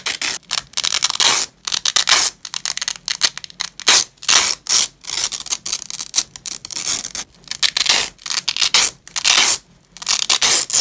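Black nitrile-gloved fingers repeatedly tear apart a flat, flexible purple nylon hook-and-loop strap resting on grey cloth. Each pull gives a bright, crackling rasp with almost no low end, and short silent gaps separate the rips.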